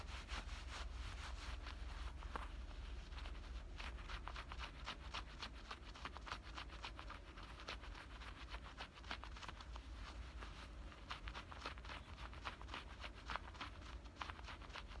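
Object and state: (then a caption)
Denim shorts being scratched. Fingertips and nails scratch and rub the front pocket openings and stitched seams of worn black denim high-waist shorts with metal buttons, while a beaded bracelet on the wrist may add faint clicks. Quiet, rapid and irregular dry scratches, rustles and short bright ticks run continuously over a steady low rumble throughout the clip.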